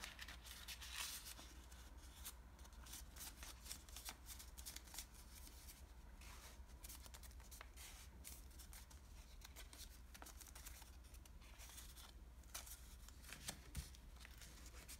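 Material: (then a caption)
Paper. A light blue washi origami paper sheet, folded toward a crane base, is held, rubbed and creased with fingertips and nails. Soft, papery rustling and crisp, bright creasing ticks come in quick irregular bursts over a steady low hum.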